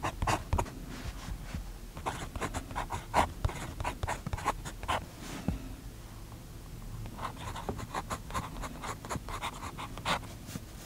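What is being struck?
Paper notebook page under a steel pen nib.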